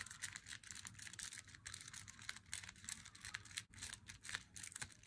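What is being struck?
Flat glossy cardboard box.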